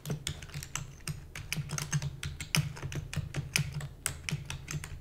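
A full-size black plastic computer keyboard with hollow keys is typed rapidly with the long nails and fingertips of both hands. A fast, uneven stream of sharp, bright clicks and clacks rises over a steady low hum, each keystroke dying away almost at once.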